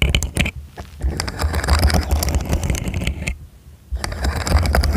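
Fingertips and nails click and slide the segments of a small, hollow, segmented rainbow plastic fidget slug toy arched over a foam microphone. The result is rapid, irregular clicking and scraping over a deep, close-up rumbling thump, with two brief quieter lulls.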